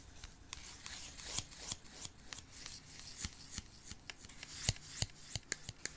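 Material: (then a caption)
Wood. Two thin, solid wooden disposable chopsticks are crossed and rubbed and scraped against each other by hand. The result is a steady, bright, dry scratching with a rapid series of sharp, short clicks that stop dead with no ring.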